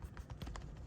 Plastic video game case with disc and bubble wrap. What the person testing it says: this actually has like barely any rattle the noise is just the case